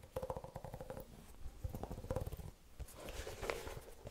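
Fingertips and nails scratch and tap the side of a single empty, dark blue/grey Vans-style low-top sneaker with a canvas and suede upper, white rubber sole and white laces, held in one hand. Quiet bursts of quick, dry, low-heavy scratching and tapping come in clusters with short pauses between them, over a faint steady hum near 500 Hz.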